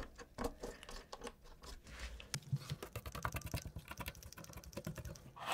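A gloved hand rubs and scratches a cotton swab along the exposed brown switches and plate of a black plastic mechanical keyboard with its keycaps removed. The sound is a quiet run of dense, short scratchy ticks and soft scrapes with little ring and most of its weight in the low range.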